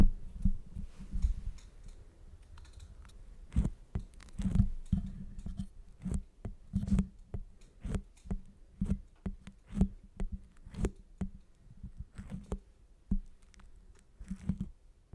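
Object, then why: Soft foam stress ball. Long fingernails rapidly tap and scratch the surface of a large, grapefruit-sized rainbow-colored squishy stress ball of soft foam or rubber held in one hand. The result is a fast, uneven run of short, dull, low taps and soft scratches with quick decay, some louder than others.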